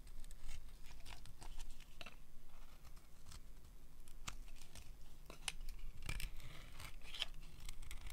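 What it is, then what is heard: Dry soap bar being carved. A pink dry soap bar, partly visible above a pile of shavings, is carved with a metal utility blade. Quick, dry crackling scrapes and snips come in rapid bursts, with brief bright clicks over a steady low rumble.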